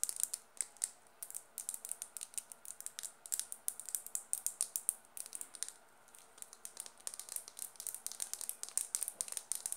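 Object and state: Plastic mascara tube.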